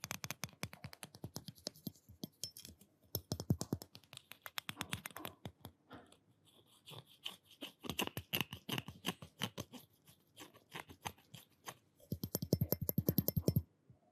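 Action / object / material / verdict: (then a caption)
tap / stainless steel spoon / stainless steel / none. Fingers and short nails tap quickly on the handle and bowl of a small, solid stainless steel spoon held in front of a microphone. Rapid bursts of dry, clicky taps with a low thudding body and bright ticks are separated by brief pauses, and each tap dies away almost instantly with no lingering ring.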